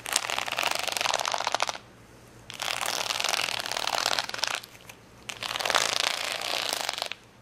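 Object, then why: Sheet of small plastic rhinestones. Fingernails scratch across a large plastic sticker sheet of rainbow acrylic rhinestones lying flat. Three bursts of dense, bright, crackly scratching are heard, each lasting about two seconds and separated by short quiet gaps.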